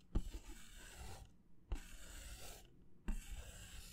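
A white disposable paper plate is held by the rim while fingertips rub and scratch across its surface. Three separate strokes each start with a sharp, low scrape and trail into a dry, rasping hiss with short quiet gaps between them. The sound is soft and close.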